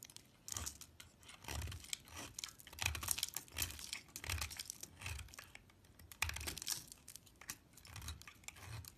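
A utility knife blade scrapes fine shavings off the surface of a small solid orange piece of soap held by fingers with long nails. Quiet, bright, crisp scraping and crackling comes in repeated short bursts, each with a soft low thud underneath, separated by brief near-silent pauses.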